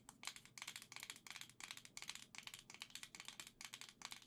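Long dark green nails tap and scratch a hand-sized Nintendo Switch Joy-Con grip, a hollow plastic shell with a black plastic centre and gold Joy-Con controllers attached. Quick bursts of bright, crisp plastic clicking and scraping follow one another steadily, each tick short and dry with almost no ring or low end.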